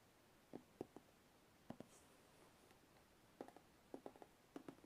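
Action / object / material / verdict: tap / cardboard box / cardboard / none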